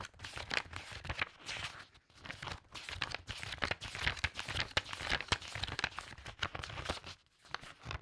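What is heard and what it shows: Long red-painted nails and fingertips quickly riffle and flip through a thick stack of old, yellowed loose book pages lying on a fabric tablecloth. The result is a rapid, bright paper flutter and rub with crisp crinkling snaps, plus brief quiet gaps around 2 and 7.3 seconds.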